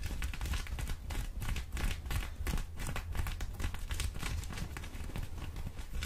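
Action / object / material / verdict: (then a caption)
scrape / folded cotton denim jeans / cotton denim / none. Long orange acrylic nails on both hands scratch a pair of folded, soft blue cotton denim jeans held up in the air. The result is a steady, irregular stream of rapid scratchy strokes, heavy in low rumble with bright, crisp fabric texture on top. Some mouth sounds may be mixed in.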